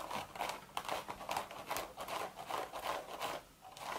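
Long, sharp red nails scratch the hollow woven crown of a cream straw hat, making about nine dry, crinkly scratching strokes in an uneven rhythm. The rasping is papery and bright, centred in the midrange with very little low end, and each stroke stops quickly with almost no ring.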